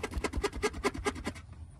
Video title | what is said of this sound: 2015 Buick Verano Exhaust System. P0420 Solved! | that noise is just normal because of how the box is mounted